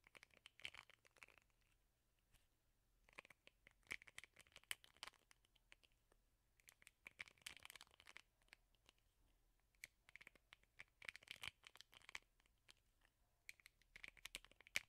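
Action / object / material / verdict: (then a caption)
scrape / plastic hairbrush with rubber bristle pad / plastic / none. Fingernails strum and scratch the plastic bristles of a teal plastic hairbrush with a rubber bristle pad, its bristle side facing the mic. Quiet, bright, crackling clicks and scratchy rasps come in repeated clusters separated by short pauses. A faint low hum sits underneath throughout.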